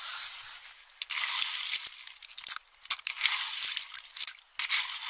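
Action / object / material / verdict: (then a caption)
scrape / pistachio shells in a metal bowl, stirred with a metal spoon / nut shell / none. A metal spoon grinds and scrapes through empty, partly crushed pistachio shells in a small metal bowl. It makes a bright, dry crunching and crackling in uneven bursts with brief quieter gaps, and almost no low end.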